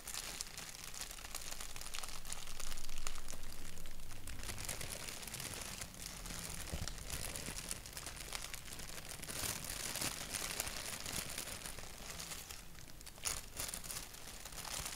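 Fingertips and short nails tap and scratch the surface of a thin white paper sheet with a black doodle print, held flat against the body. A dense, steady stream of crinkly, scratchy rustling with quick taps and bright hiss swells around 3 seconds, then stays even, with one sharper tap near 13 seconds.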